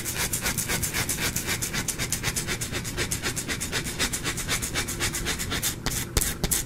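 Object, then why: Bar of soap scratched with fingernails. A small, solid white-cream bar of soap, partly carved, is held in one hand and scratched with the fingernails of the other, and shavings pile up on the cloth below. The sound is a fast, steady run of dry, bright rasping strokes, about four per second, with a few sharper scrapes near the end.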